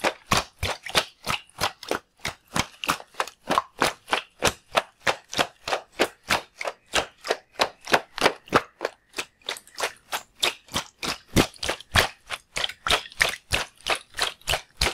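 A palm-sized, full red-and-white latex rubber water balloon is held in one hand while fingertips squeeze, tap and jiggle it. About 54 quick, sharp taps and squelches follow one another at a steady, slightly uneven pace. Each is short and dry with a bright, mid-to-high sound and little low end.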